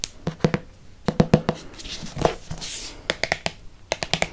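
Fingertips and nails tap and trace the glossy cover of a thick, solid red hardcover Harry Potter book with a dragon on the cover. Sharp, dry taps with a low body and bright clicky edges arrive in quick clusters. Softer, hissy brushing strokes sweep across the cover between the bursts of taps.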